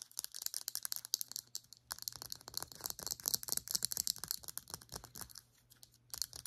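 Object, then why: Small plastic pump bottle. Long nails rapidly tap and scratch a small, hollow, cylindrical Hismiles plastic serum pump bottle with a white cap. The result is a dense stream of bright, dry clicks and scratches with no ring, over a faint steady low hum. There is a brief quiet gap near the end before the tapping resumes.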